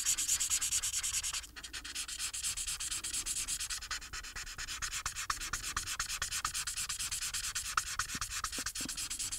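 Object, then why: Paper sheet scratched by a felt-tip marker. The fine tip of a white felt marker, held in the fingers, rubs back and forth over a thin, flat paper coloring sheet with a printed Harry Potter illustration lying on a table. It makes a dense, bright, scratchy rubbing with a steady stroke rhythm, and it drops a little quieter after the first second and a half.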